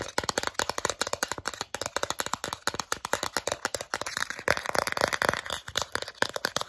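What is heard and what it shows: Long nails rapidly tap and scratch the face of a small, flat, solid plastic Starbucks gift card held close up. About 44 fast, dry clicking taps come in a quick, uneven stream, mixed with light scratching. The sound is bright and crisp, with almost no low end, and each tap stops instantly.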